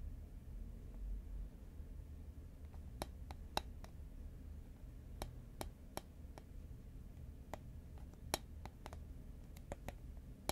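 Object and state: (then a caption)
Cardboard chip tube tapped with nails. A hollow green Pringles paperboard chip can, held horizontally in both hands, is tapped with long nails. Sharp, dry, bright clicks come at irregular intervals, each dying away almost at once. Beneath them sits a quiet, steady low rumble.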